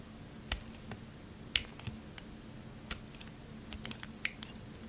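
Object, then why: Bar soap and metal knife blade. A metal knife blade shaves along the faces of a solid, faceted, pale green bar of soap held in the hand. The result is a scattered, irregular series of sharp, dry, bright clicks and crisp scraping snaps, each ending almost instantly, over a faint low steady hum.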